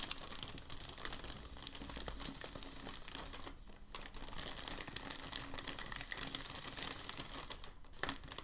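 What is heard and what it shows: A large, thin, creased sheet of crumpled packing paper lies flat on a table while both hands rub and fold it with their fingertips. This produces a steady stream of dense, bright, crisp crinkles and crackles. The crinkling pauses briefly near the middle and again near the end.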